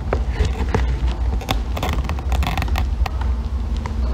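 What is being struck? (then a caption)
Bar of soap scraped with a thin metal tool. A thin metal blackhead-remover tool scrapes and shaves curls off a small solid green bar of soap, held in fingers with long painted nails above a pile of shavings. Short, crisp, crackly scraping strokes repeat over a steady low rumble throughout the clip.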